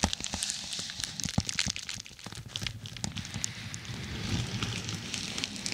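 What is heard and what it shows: Long nails scratch and press across a dark glossy plastic padded bubble mailer laid over a microphone. The result is a dense, irregular crinkling and crackling with bright, high-pitched rustle, punctuated by sharp ticks and soft low thumps.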